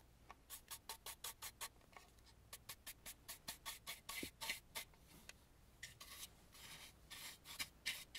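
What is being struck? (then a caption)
Carved wooden mask. A small stencil brush scrubs the inside of a hollow, carved and painted wooden mask and the edge near its string. The result is quick bursts of dry, bright, scratchy rubbing, about three or four strokes a second. The strokes start out short and separate, then run into longer, denser scrubbing with little low end.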